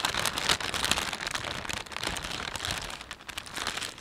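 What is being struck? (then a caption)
Thin plastic carrier bag. A thin, empty plastic carrier bag with a panda print is gripped in both hands and rubbed with the fingertips and thumbs. The result is a dense, continuous crinkling and crackling that is bright and high, with very little low end and a few louder snaps early on. It fades slightly toward the end of the roughly four-second clip.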